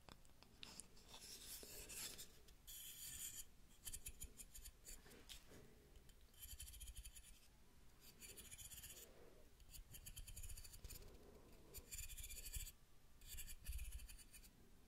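Long nails pluck and scratch along the teeth of a large, light, solid wooden wide-tooth comb. Bursts of bright, dry rasping alternate with quieter stretches over a soft low rumble, in a steady, repeating rhythm of scraping strokes.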